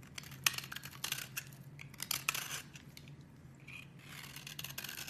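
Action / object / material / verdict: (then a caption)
scrape / bar of soap / soap / none. A metal blade scrapes and chops the edge of a solid lilac bar of soap, held by a hand with long red nails, into crumbly flakes. Quiet, bright, dry scraping and crisp crunching come in uneven bursts with sharp little clicks, over a faint steady low hum.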